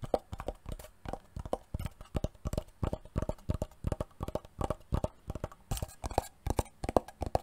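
A wooden box is tapped repeatedly with quick, dry, irregular knocks for ASMR. Each tap has a hollow, woody tone with a low thump and almost no ring.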